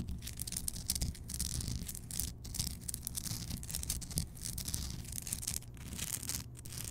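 Long painted nails of both hands scratch and tap a large, solid, rough-hewn block of pink Himalayan rock salt, a salt lamp lit from inside. A dense, continuous scratchy rasp, bright and crackly, is heard over a steady low rumble, with brief soft taps that die away almost at once.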